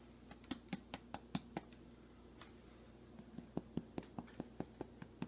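A bare hand taps a freshly baked white loaf of bread after a glove is taken off, checking whether it is done. Two bursts of quick, dull, hollow knocks follow, with short bright clicks and almost no ring. The hollow sound shows the bread is fully baked.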